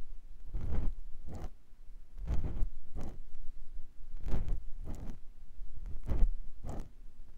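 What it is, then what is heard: Silicone ear of a binaural microphone being scratched. A clear silicone ear pick gently scratches the canal of a white silicone ear on a binaural microphone block. A series of short, soft, dull scraping bursts comes through, heavy in low rumble with brief faint bright edges, each fading almost at once.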